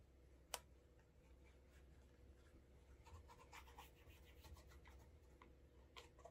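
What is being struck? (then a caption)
Leather dress shoe. A cotton cloth on the fingertips rubs wax along the sole edge, heel and toe of a brown leather Alden Straight Tip Blucher cap-toe shoe, held in the hand with a shoe tree inside, to create a wax burnish. Quiet, dry scratching and rubbing strokes sound over a low steady hum, with a sharp bright tick near the start and another near the end.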